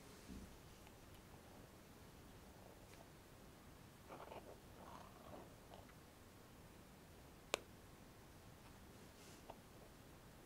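Fingernails lightly tap the metal lid top and edge of a closed, small round cosmetic cream jar resting on a foam mat. Soft, faint scratchy taps and rustles sit over a quiet background hiss, with one sharp, bright click standing out near the end and dying away almost instantly.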